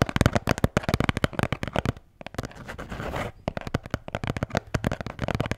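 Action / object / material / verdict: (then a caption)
tap / beer can holder / unknown / none. A blue Bintang beer can holder is tapped and scratched up close. Rapid, dry tapping fills the clip, with a short stretch of softer, continuous scratching in the middle before the quick taps resume.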